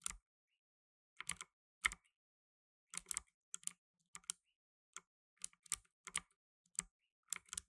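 Fingertips in blue nitrile gloves type steadily on a black tenkeyless mechanical keyboard with plastic keycaps. Short, bright clicks and clacks come in small clusters separated by silent pauses. Each keystroke dies away almost instantly, and there is little low end.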